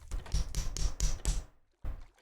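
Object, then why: Plastic Lego brick separator. An orange plastic Lego brick separator with a slight flex to it is tapped repeatedly against a microphone. It makes a run of dull, boomy thumps with little ring, then a short silence and one more tap.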